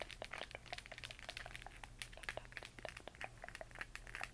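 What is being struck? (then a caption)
Hollow plastic moon lamp. Fingernails scratch and tap the textured surface of a hollow plastic LED moon lamp glowing green, heard up close. Quick, dry clicks and crinkly scrapes follow one another rapidly, each dying away almost at once, over a faint steady low hum.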